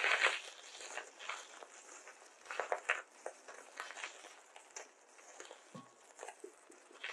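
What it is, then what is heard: Polystyrene foam beads in a glass bowl. Fingertips rub and squeeze small white polystyrene foam beads in a small glass bowl, scooping handfuls and letting them trickle, with loose beads scattered on a paper mat. A dense, bright crackling and squeaking runs throughout, with short sharper bursts standing out from the steady rustle and almost no low end.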